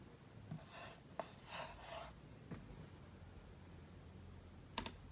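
A green dry-erase marker writes "Merry Christmas" on a large flat whiteboard with a drawn tree. Soft rubbing, scratchy strokes with a bright hiss come in two bursts, broken by three sharp taps of the marker tip. The clip is quiet overall, with a low background rumble.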